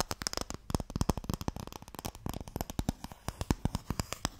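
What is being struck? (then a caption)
Long narrow wooden box. Fingertips and nails tap rapidly on a long, narrow, hollow wooden Mikado box, producing about thirty quick, dry knocks that vary in loudness. Each tap is short and hollow with a low, woody body, while the nails add bright clicking edges, and the sound dies almost instantly with no ring.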